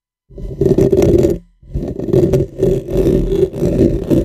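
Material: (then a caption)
Metal mesh. Both hands scratch and rub the metal mesh head of a dark, hollow, cylindrical USB microphone on a stand, about 15 cm tall, using dark-painted fingernails and fingertips. The result is continuous, close, hollow scratching with a resonant low-mid tone, broken by one brief pause before resuming.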